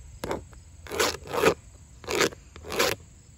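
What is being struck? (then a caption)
Vinyl siding panel on an exterior wall. Long nails tap and scratch across grey wood-grain vinyl siding on an exterior wall, dragging over the surface and ridges of its hollow-backed panels. About five separate rasping strokes are heard, each a broad, bright scrape with a hollow body in the low-mid range, separated by brief quiet gaps over a faint background hiss.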